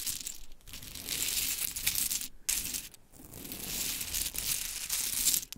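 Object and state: Pile of mini wooden clothespins raked by nails.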